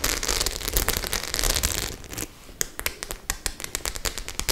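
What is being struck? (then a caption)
Studded faux leather clutch bag. Long nails scratch across the studded surface of a white faux-leather clutch bag. About two seconds of dense, bright scratching and crackling give way to sparser, sharp clicks and ticks as the nails catch on the studs.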